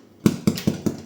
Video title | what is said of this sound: Pain de Campagne Levain – Fermentation lente (Classique & Noix surprise) - La Briocherie de pascal | Regardez le bruit qui sonne creux.